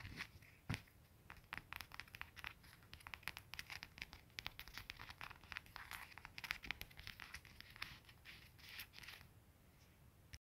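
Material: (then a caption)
Faux leather. Fingertips and short nails scratch and rub a round, soft padded faux-leather ring cushion with a gathered ruched edge and hollow center, lying on a plaid wool blanket. Many quick, dry scratching clicks and crinkly rubs crowd close together, with a bright hiss in the upper range and faint low rumble beneath. The sound is quiet throughout, with short bursts that stop almost instantly.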